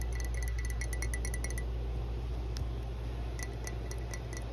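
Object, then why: Ceramic mug. Long blue nails tap and scratch the outer wall of a hollow, apparently empty matte green ceramic mug with a dark base and a grey handle. Quick, light clicks with a short, bright ringing tone come in a rapid run, pause, then return over a steady low hum.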